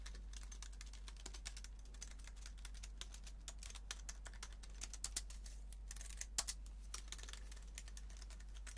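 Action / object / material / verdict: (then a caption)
tap / aluminum and plastic keyboard / aluminum, plastic / none. A slim white aluminum and plastic wireless keyboard is held in the hands while fingernails scratch and tap its metal underside, then fingertips type on its plastic keys. Quick, bright clicks and taps rise over a steady low hum, with a few sharper accents around the middle of the clip.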